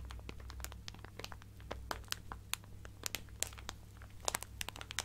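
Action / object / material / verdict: scrape / plastic zip bag filled with fabric / plastic / none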